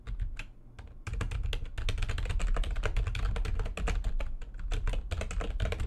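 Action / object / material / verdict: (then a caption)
tap / plastic computer keyboard / plastic / none. Fast typing with long nails and fingertips on a full-size plastic computer keyboard with white backlighting and a hollow housing. A few scattered taps lead into a dense, steady clatter of quick, sharp clicks over a strong low, hollow thump from the housing.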